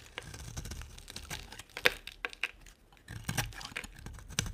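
A solid, hand-sized white oval bar of dry soap with a ribbed edge is carved and scraped with a utility knife blade. Crisp, crumbly scraping and crackling runs throughout, with bright, sharp snaps as the blade bites into the bar. There is a brief quiet pause partway through before the scraping resumes.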